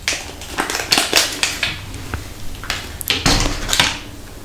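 Long acrylic nails tap and scratch a small, round, palm-sized hollow orange plastic case with a printed label, held in front of the mic. A string of sharp, bright clicks is heard, each fading quickly, with a softer scratchy rasp between them.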